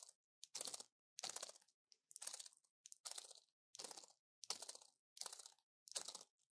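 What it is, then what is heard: Pill blister pack. A small orange plastic pill blister pack with foil backing, full of pills and held in one hand, is tapped on its hollow blisters with a long fingernail. Quiet bursts of bright, crinkly plastic clicking come in irregular short clusters with brief silences between them, with almost no low end.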